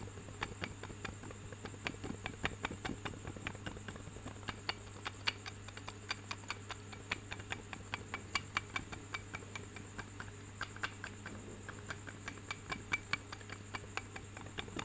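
A wooden massager with a flat handle and wooden wheels on both ends, held behind the mic, is tapped on the handle with a fingernail. Quick, light, dry clicks patter steadily throughout. A constant low hum and a faint high tone sit underneath.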